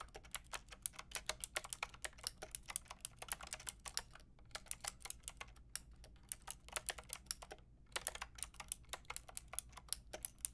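Fingertips and long nails type steadily on a full pink, grey and white mechanical keyboard with round plastic keycaps. The keys give off a rapid run of bright, sharp plastic clacks that die away almost instantly. The typing pauses briefly twice over a faint low background hum.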